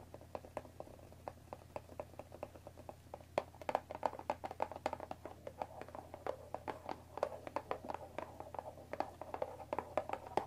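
Long nails tap quickly on the top of a hollow cardboard Earl Grey tea box wrapped in cellophane plastic, resting on a wooden table. A fast, uneven stream of short, dry clicks with a hollow midrange tone and a faint crinkle rides over a steady low hum. Each tap dies away almost instantly.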